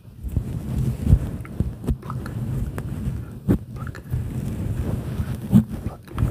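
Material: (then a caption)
Synthetic fur. Fingertips pluck, pinch and rub a fluffy grey-and-white synthetic fur windscreen over a microphone in a slow searching motion. The result is a dense, low rustling and thumping, with soft muffled bumps and brief scratchy touches throughout.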